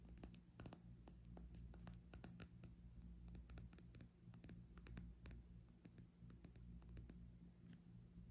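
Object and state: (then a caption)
Glass hourglass tapped and scratched with nails. Long nails tap and scratch the glass bulbs of a small, clear, hollow glass hourglass partly filled with pink sand, held sideways and then set upright. Quiet, irregular, sharp clicks and scratchy ticks with a bright glassy edge sound over a steady low hum.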